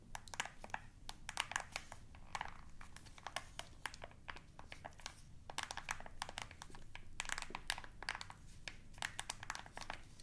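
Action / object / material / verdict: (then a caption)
tap / plastic TV remote control / plastic / none. Long nails press and click the buttons of a black plastic TV remote control. Quiet, sharp, bright clicks come in quick irregular clusters over a low, steady background rumble, each tick dying away almost instantly.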